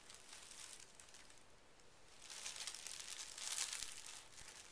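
Hands smooth and rub a folded pink tissue paper sheet resting on carpet, using fingertips and short nails. Soft, continuous crinkling and rustling, mostly high and airy, grows louder and brighter in the second half with the strongest crackly bursts near the end.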